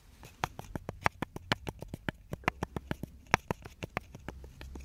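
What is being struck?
Small hand-held wooden block.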